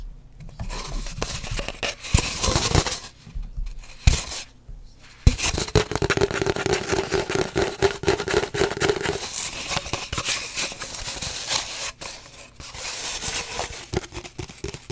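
Long nails scratch and tap chaotically on an empty, hollow cardboard paper towel tube held horizontally. Dense, bright, dry scraping and raspy rubbing mix with quick hollow taps, broken by a few brief pauses. A steadier, humming scrape runs through the middle of the clip.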